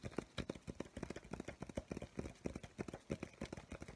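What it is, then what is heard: Spiral-bound paper sketchbook. Fingertips and nails tap quickly on the paper surface and edges of a medium spiral-bound paper sketchbook, a solid stack of pages held upright in both hands with a crayon drawing shown. About 26 short, dry, low taps land in a fast, uneven rhythm, each dying away almost at once.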